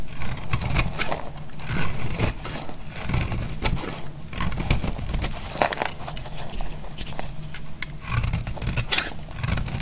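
A utility knife blade scrapes and cuts a dry, solid purple striped soap bar held in the hand, shaving it into flakes. Rapid, crisp scraping strokes and brittle clicks overlap continuously over a dense, low rumble.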